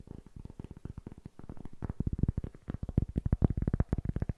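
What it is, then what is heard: Cork block. Fingertips tap rapidly on the face of a small, solid-looking rectangular cork block held upright in both hands. About 26 soft, dull, low thuds come in a quick, uneven patter, each dying away instantly with no ring.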